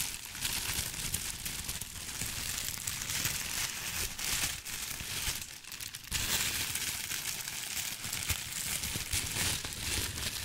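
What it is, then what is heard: Crinkly tissue paper being crumpled. A thin sheet of white crinkly tissue paper is stretched and twisted between both hands with the fingertips, crumpling it. The result is a steady, bright, dense crinkling with crackly texture, easing briefly just before the 6-second mark and then resuming at full intensity.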